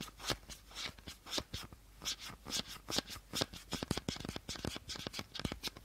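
Fingertips and short nails tap rapidly along the body of an empty, hollow clear plastic bottle with a teal cap. The result is a quick, uneven run of short, dry, bright clicks that stop almost instantly, with only a little low body beneath them.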